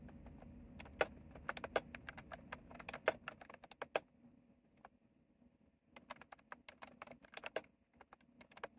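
Fingertips of both hands type on a white and mint retro typewriter-style mechanical keyboard with round plastic keycaps and a hollow housing, making sharp, bright clicks in an irregular rhythm over a faint low hum. The tapping slows to near silence partway through, then resumes with a quick run of crisp clacks.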